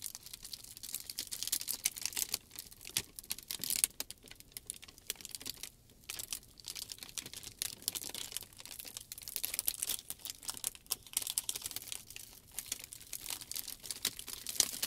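Fingertips and palms press, rub and crinkle a clear plastic shrink wrap sheet lying flat. A steady, quiet stream of dense, bright crackles and crisp snaps runs for about 15 seconds, with almost no low end.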